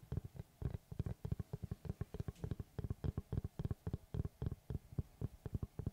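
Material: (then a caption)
Wood. Fingertips and short nails tap rapidly on the cut face of a large, round, solid wood tree slice board held upright. About 32 quick, dull, low thuds come in an uneven flurry, each dying away almost at once with no ring. The sound is soft and deep, centered around 113 Hz, with almost nothing bright on top.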